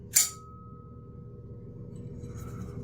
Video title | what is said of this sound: Blade Talk Daily ep. 355 (8am CST -06:00UTC) My first day off in a month straight - let's chill | Hopefully you'll be able to hear the ting in here, but I don't know if you can hear how long it rings out for